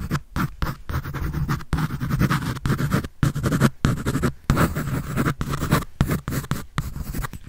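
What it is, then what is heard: Pencil scratching on a paper sketch pad. A graphite pencil scribbles and scratches across a large white paper sheet on a sketch pad held upright close to the mic. Dense bursts of dry, rasping strokes come in quick succession, broken by short silent pauses, with a strong low-end body beneath the scratchy texture.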